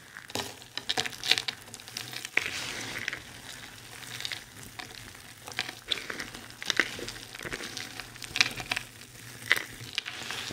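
Both hands grab, squeeze and crush handfuls of a heap of dry, multicolored soap flakes on a white surface, working them with fingers and nails. It makes a dense, bright crinkling and crackling with scattered sharp clicks over a steady rustle, and almost no low end.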